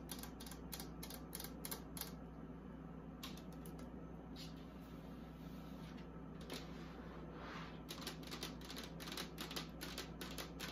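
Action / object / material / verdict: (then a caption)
tap / plastic mini fridge casing / plastic / none. Long acrylic nails tap around the inside of an empty, hollow, small pink plastic mini beauty fridge with its door open, then tap and scratch along the outer side of its plastic casing. The sound is a run of quick, irregular, bright clicky taps with a softer stretch of scratching in the middle. A steady low hum runs underneath throughout.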